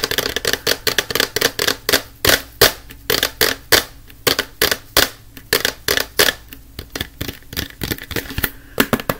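A medium-sized cylindrical plastic canister of disinfectant wipes, with a yellow lid and paper label, hollow with wipes inside, is tapped and scratched with fingertips and nails. About 35 sharp, bright, clicky taps come in an irregular rapid run, each dying away almost instantly, with a faint steady low tone underneath.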